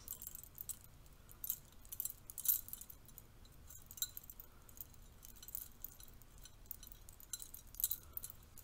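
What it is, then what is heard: Metal curtain rings jangling. A stack of bronze-colored metal curtain rings is held in the hand while the fingers and thumb riffle their edges, so the rings jangle against each other. Quiet, bright, scattered clinks and jingles come in irregular bursts over a soft low hiss, with the louder clusters near 1.5, 2.5, 4 and 7.8 seconds.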